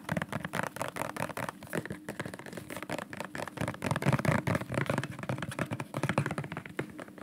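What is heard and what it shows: A dark, medium-sized bottle with a white cap and white label, probably plastic, is held in the hands and tapped quickly along its body with fingertips and nails. The result is a fast, uneven stream of short, dry clicks over a hollow low thump that die away almost at once.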